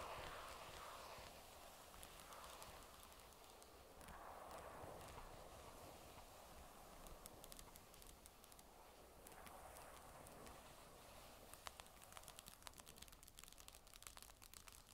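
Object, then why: Magnesium tablet back. Long nails tap and scratch the magnesium metal back of a grey Surface tablet lying face down, with an added echo effect. A steady, soft scratching hiss runs throughout, with light, bright ticks from the nail taps growing busier toward the end.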